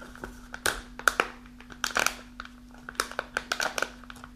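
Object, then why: Kraft paper snack pouch. Long nails scratch the folded top and sides of a partly full kraft paper snack pouch standing on a table, crinkling it. Sharp, bright crackles and scratchy rustles come in uneven bursts over a faint, steady low hum.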